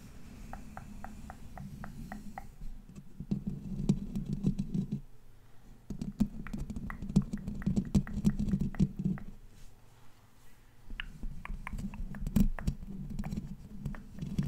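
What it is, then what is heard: Metal microphone grille. Both hands cup the black mesh metal grille of a large condenser microphone, scratching and tapping it with nails and fingertips. A run of light, evenly spaced taps gives way to bursts of dense, low, buzzy scratching, with sharp clicks scattered through. The bursts come in three waves, with short quieter gaps between them.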